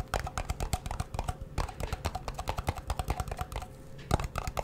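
A small, hollow, round blue metal Nivea cream tin with its lid is held in both hands while fingertips and nails quickly tap and scratch the lid and sides. The result is a dense run of quick, dry clicks with short scratchy strokes and a faint tinny ring between them.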